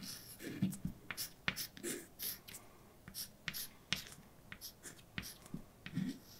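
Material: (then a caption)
Chalk. A hand writes with white chalk on a large, dark, flat blackboard. Quiet scratching strokes hiss bright and high, mixed with short, sharp taps and a few soft, low thuds as the chalk meets the board.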